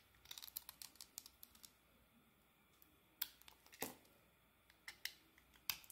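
A utility blade carves thick curls off a solid, hand-held soap bar with an orange, green and gold marbled coating and a pale green inside. The clip is a run of short, bright, crisp scraping clicks and snaps. A dense cluster comes early, then sparser, sharper cuts follow with almost no low end.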